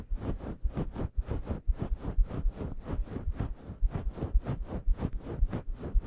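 Both hands with long yellow nails quickly scratch a fist-sized grey faux fur microphone windscreen. The result is a rapid, uneven series of soft, fluffy scratching bursts with a heavy low rumble beneath faint bright hiss.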